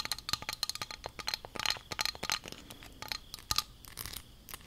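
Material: Plastic.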